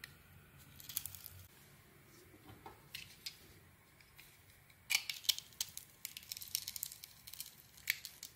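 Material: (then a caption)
Soap. A metal blade scrapes and cuts into the sugary, glittery crust of a solid green soap bar held in hand. Soft, bright scratching gives way to a denser run of sharp, crisp crunches and crackles in the second half. The sound is dry and high-pitched, with almost no low end and no ring after each cut.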